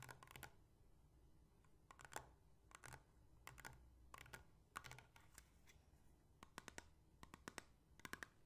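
Long painted fingernails rapidly tap a small, empty, hollow clear plastic bottle with a white cap, both while it is held and while it stands upright on a table. Quick bursts of sharp, dry clicks come in uneven clusters, each tap dying away almost at once over a low, steady background hum.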